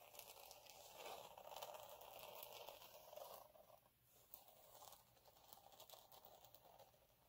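Fingertips and short nails scratch and rub a flat, fine gold glitter sheet with a ribbed texture lying on a dark cloth. The result is a quiet, steady, crinkly scratching with a mid-range rasp and bright, hissy grit, easing slightly in the middle before continuing in uneven strokes.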